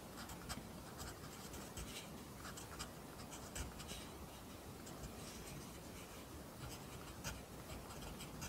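A pencil writes on the lined paper of an open notebook, its graphite scratching the page in a soft, continuous rasp. Faint bright ticks and small bursts of louder scratching sit over a low, steady rumble.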